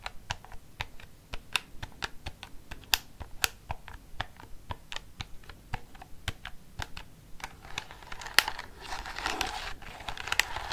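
A black plastic desk calculator with rubber keys is held upright while its keys are tapped with fingernails, giving about 31 short, dry, bright clicks with almost no ring. In the last few seconds a denser, hissy scratching texture builds under the taps.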